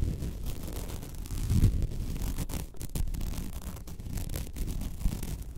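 Long red nails scratch the fine woven plastic mesh surface of a flat white placemat lying on a table. The result is a dense, continuous scratchy rasp, mostly low and rumbling, with brief brighter swipes and a louder stroke just before the two-second mark.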